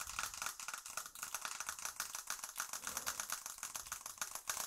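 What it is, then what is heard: Glass and aluminium smartphone. Long acrylic nails tap fast on the glass screen of a smartphone with an aluminium frame, held close above and beside the microphone. Rapid, bright, dry clicks run together in a steady rattling stream, with almost no low end.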